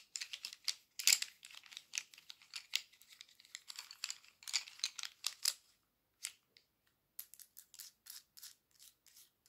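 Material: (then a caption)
Wood. A handful of wooden colored pencils is held in one hand and rolled and shuffled with fingertips and long nails, so the pencils clack and rub together. Quick, bright clicks and dry rustles come in dense clusters, with a short pause near the middle before sparser clicks resume. The sound is quiet and thin with no low end, and each click dies away almost instantly.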